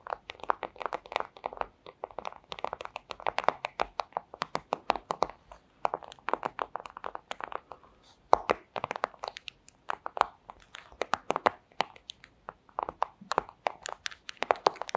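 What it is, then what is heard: Plastic sleeve. A flat, thin clear plastic sleeve is crinkled and scratched with long acrylic nails, making a rapid, steady run of dry, crisp crinkles and sharp ticks. The sound is centered in the midrange with bright edges and almost no low end. The crackles cut off instantly with no ring, and there is a brief pause around the eight-second mark before they resume.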